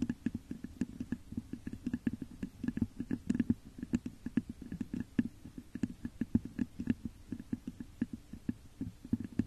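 Long nails scratch and tap rapidly on the top of a hollow, textured clear glass vase turned upside down over a microphone. The result is a dense run of quick, dry clicks with brief scratchy bursts over a hollow, low resonance near 230 Hz. Each tap dies away almost instantly.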